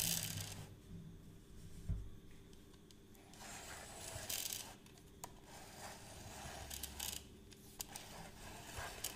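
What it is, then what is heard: Plastic measuring tape reel. A hollow plastic measuring tape reel is held close and tapped, clicked and scratched by fingertips and nails on its case and crank. The result is many quick, light clicks and scraping rasps over a soft low rumble.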